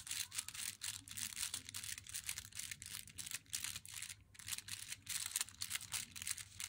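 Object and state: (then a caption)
Cardboard chocolate box. Long nails tap and scratch the front and corner of an unopened, glossy, flat cardboard Meiji Black Chocolate box while it is held. The result is a quick, steady run of crisp, dry taps and scraping strokes, almost entirely bright and high with very little low end. Each tap dies away almost instantly.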